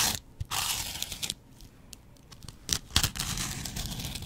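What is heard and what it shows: A yellow porous foam kitchen sponge is scratched with a double-edge razor blade close to the microphone. Bursts of bright, rasping scraping and tearing come in uneven strokes, with quieter gaps between them and a low rumble underneath.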